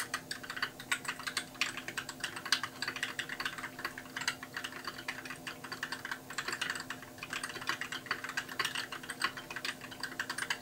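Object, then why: Plastic mechanical keyboard. Fingertips type steadily on a compact white mechanical keyboard with plastic keycaps, producing a dense, continuous run of short, bright clacks. The clicks decay almost instantly over a faint steady low hum.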